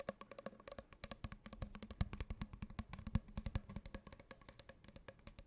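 Long painted fingernails tap quickly on a hollow, open-ended brown cardboard tube held diagonally. The rapid, uneven taps sound resonant, woody and hollow, each a short, dry knock with a low body and almost no ring, at a soft, close level.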